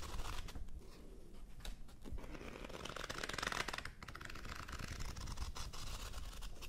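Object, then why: Paperback book, paper pages. Fingertips riffle quickly through the white paper pages of a thick paperback book, fanning them. The result is a continuous, scratchy papery rustle and flutter with bright crackly texture over a steady low rumble, swelling briefly near the middle before settling.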